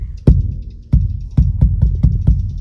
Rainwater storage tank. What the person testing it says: you can tell right away by the sound that hollow sound tells you the tank is empty